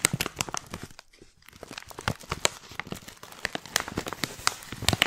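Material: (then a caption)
Plastic. A hand-sized, filled white printed stand-up plastic pouch of Tiora loose tea is squeezed and crinkled with long painted nails and fingertips. Dense, bright crinkles and sharp crackles snap in quick succession, pausing briefly near the one-second mark before resuming.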